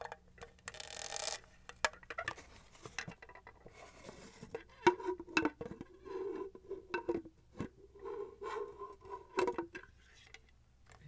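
Long nails tap on the studded side and near the top of a hollow pink plastic studded tumbler with a straw. The result is a quick run of light, dry clicks, some of which bloom into a short hollow, mid-pitched tone that fades almost at once. A brief rustling hiss sounds near the start.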